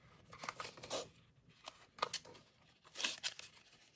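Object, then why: Small glossy cardboard box. Short pink fingernails scratch and tap the glossy surface of a small, printed Kinetic Sand cardboard box that is hollow, sealed and held in the hands. The quiet, dry scratches and taps are bright and crisp, come in irregular bursts, and die away almost instantly with very little low end.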